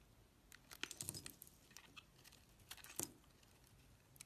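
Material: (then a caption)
Soap. A metal utility knife blade scrapes and shaves curls off the surface of a solid, rectangular, palm-sized brown household laundry soap bar, fibrous-looking where cut and held in the hand. The result is a quiet series of short, dry, crisp scrapes and crackles, mostly bright and high, each stopping almost instantly, with a few stronger strokes standing out.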